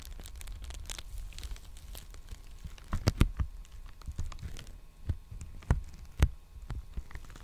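Fingertips scratch and crinkle the surface of a large, empty black poly bubble mailer envelope held upright. Soft, papery crinkling and scratching run throughout over a low rumbling undertone, broken by several sharper, brighter crackles and pops that stand out above the quiet rustle.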